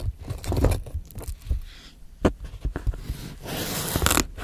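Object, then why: Cucumber cut with a steel knife on a plastic board. The last pieces of a fresh, solid green cucumber are sliced with a steel knife on a white plastic cutting board. Crisp, short cuts land with low thuds on the board, mixed with scraping of the blade. Near the end comes a brighter, hissy scrape.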